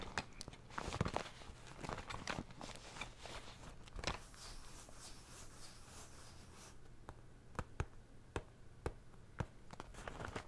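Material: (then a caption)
Coated fabric. Fingertips tap and scratch along the coated fabric of a cylindrical blue zippered pencil case held close to the microphone. Dense, bright scratching and rustling fill the first seven seconds, then give way to sparser, sharp, dry taps over a faint low hum.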